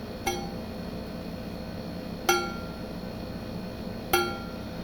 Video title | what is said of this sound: Survival tips-Sources of good blade steel | If it rings like a bell, usually it's good carbon steel, and that means it's been tempered fairly well.